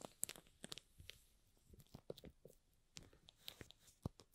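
Fingertips and nails rub and scratch the clear plastic shrink wrap tightly covering a small, hollow, rectangular cardboard product box for an LED light, held in both hands. The result is a quiet series of sharp, dry crinkles and scratches with bright, crisp highs and soft low thumps. Each sound stops almost instantly, with brief near-silent gaps between them.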